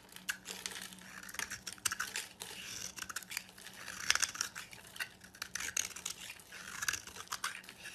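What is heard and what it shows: A knife blade carves a hand-held solid oval soap bar with a metallic copper coating, shaving off flakes and exposing the white soap inside. The carving gives a steady run of crisp, bright scraping and crackling strokes with dry, quick bursts and almost no low end.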